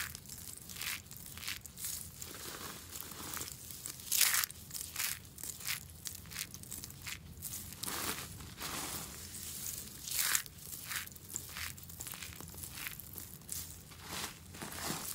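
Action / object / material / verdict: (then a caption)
scrape / soap shavings / soap / none. A pile of dry, crushed green soap curls and flakes is pressed and rubbed with open hands and fingertips. It gives a steady run of bright, crisp crunching and crackling bursts, with a few louder crunches standing out over a faint low background hum.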